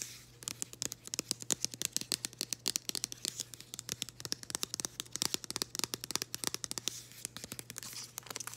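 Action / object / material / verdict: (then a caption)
scrape / printed cardboard package / cardboard / none. Long green acrylic nails scratch and tap a flat floral printed cardboard package held close up, making a rapid, irregular stream of sharp, dry clicks and scrapes. The sound is bright and crisp, with each tap dying away almost instantly over a faint steady low hum.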